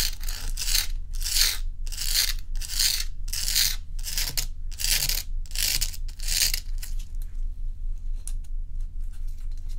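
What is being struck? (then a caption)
Block of ice. Long nails scratch across the frosted surface of a large, solid, round ice block held in both hands, making a series of bright, rasping strokes in a steady rhythm. The scratching then gives way to softer, scattered taps on the ice, all over a constant low hum.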